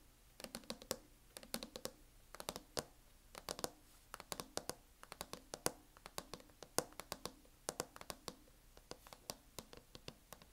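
Long nails tap in quick, uneven bursts on the lid of a closed MacBook in a teal matte plastic hard-shell case. About fifty sharp, dry clicks with almost no ring carry a hollow mid-range knock under a bright plastic tick, over a quiet background.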